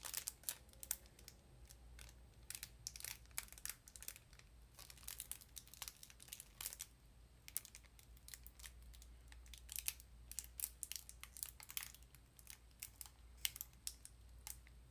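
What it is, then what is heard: Cardboard sardine box. A small printed cardboard sardine box is turned, squeezed and scratched with fingertips and long nails. Quiet, bright crinkles and dry scratchy ticks come in uneven bursts over a faint steady low hum.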